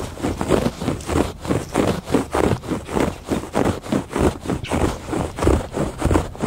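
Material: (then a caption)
Woven fabric. Fingertips and nails scratch back and forth across the textured surface of a woven fabric rug. The result is a steady series of soft, rasping strokes in a loosely regular rhythm, with a dull, mostly low-to-mid tone and little high-end hiss.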